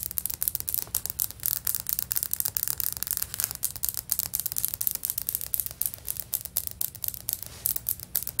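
Both hands with long nails scratch and rub across the surface of solid, stone-pattern ceramic floor tiles. The result is a quick, steady run of dry, bright scratching strokes with no ring after each stroke, over a faint low hum.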